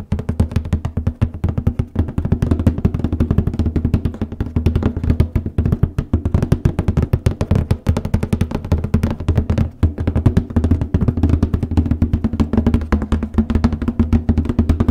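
Fingertips and nails rapidly tap and scratch the printed lid of a large cardboard copy paper box, moving toward the edges. The result is a dense, steady stream of short, dull, hollow low thuds with almost no ring and very little bright content.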